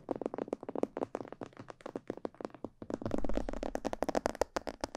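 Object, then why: Plastic mannequin head microphone. Fingertips and long nails tap quickly on the sides and ears of a hollow, glossy black plastic mannequin head microphone. The result is a rapid run of short, dry, hollow-sounding taps with a mid-range knock and no ring. A low rumble swells underneath partway through.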